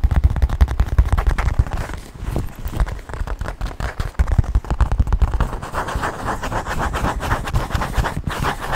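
A small black quilted leather handbag is held upright close to a microphone and tapped rapidly with fingertips and nails on its leather surface. The result is a dense, fast stream of soft, low, thumping taps with very short decay and little high-end content.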